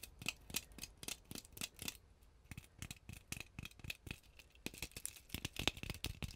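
Long glittery painted nails scratch and tap a hand-sized, solid-looking round ornament ball densely covered in small gold/orange plastic sequins or beads. The result is a fast, irregular run of sharp, dry, bright clicks and rattly scrapes with almost no ring, with a brief lull near the two-second mark.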